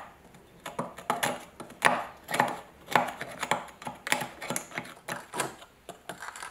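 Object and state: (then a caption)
Rusty iron hammer head being scraped. A pointed metal pick scratches and chips flaky rust off an old, heavily rusted, solid iron hammer head about a hand's length long, held by a gloved hand on a wooden board where the rust flakes collect. It makes a series of irregular, sharp scraping and chipping clicks, roughly two per second, bright and midrange, each dying away almost at once.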